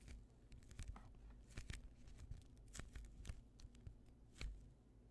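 A hand-sized, soft, solid polyurethane foam squishy toy shaped like a slice of white bread is squeezed and pressed with the thumbs and fingertips. It gives quiet, irregular crinkly squishes and brief bright crackles over a low, dull rumble.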